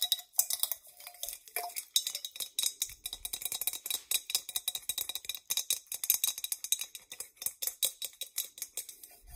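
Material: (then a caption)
Copper. Long nails tap and scratch the dimpled outer surface of a hollow, medium-size hammered copper mug. A rapid, steady run of bright, crisp clicks and scrapes fills the clip, each tap dying out almost at once with only a faint metallic ring.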